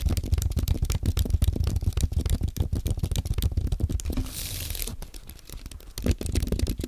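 Fingertips type on a compact white aluminium and plastic Apple keyboard, giving a fast, uneven run of short, dull, low-heavy key taps. Midway the taps give way to a brief soft, bright hiss, then the typing resumes with a few louder strokes near the end.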